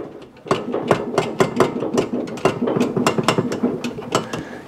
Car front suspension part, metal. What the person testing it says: si hago esto , está bastante suelto aquí hay algo